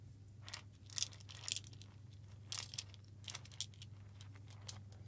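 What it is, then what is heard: Metal tin can. A hollow cylindrical metal tin can held close to the microphone is tapped and scratched with the fingertips. Bright, crisp ticks and scratchy rustles come in irregular bursts, each dying away almost at once, over a steady low hum.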